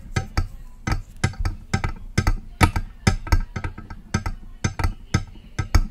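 Long press-on nail tips tap the side of a silver metal USB microphone body in a quick, uneven run of sharp taps. Each tap lands as a short, dry click with a heavy low thump picked up by the mic, and it dies away almost instantly.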